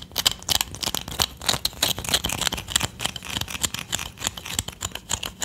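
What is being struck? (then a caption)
Small palo santo wood stick. A small solid palo santo wood stick, held in the fingers, is tapped and scratched with long nails. Quick, irregular dry clicks mix with bright, scratchy rasps that sit mostly in the high frequencies. Each tap stops almost instantly, with no ring and little low end.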